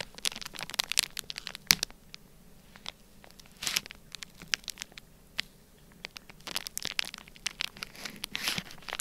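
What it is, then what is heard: Plastic bag of kinetic sand being scratched. A black plastic stylus scratches and presses lines into a flat, sealed, clear plastic bag full of orange kinetic sand. The result is bright, dry crinkling and crackling with quick scratchy ticks, coming in dense bursts separated by short quieter gaps. There is almost no low end, and each tick dies away instantly.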